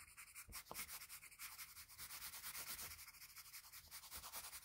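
A graphite pencil held at a low angle rubs broad shading strokes around the lips and chin of a drawing on a flat sheet of white drawing paper. The strokes make a steady, rhythmic, bright scratchy rasp, each stroke swelling and fading in quick succession, with very little low end.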